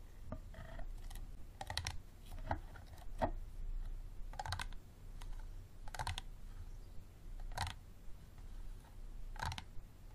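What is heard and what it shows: Fingernails tap on the ribbed sides of a small, empty, clear plastic water bottle with a green cap standing upright. The hollow bottle gives short, dry, clicky taps in an irregular rhythm, some in quick clusters. Each tap has a bright edge and dies away almost at once over a low, steady background rumble.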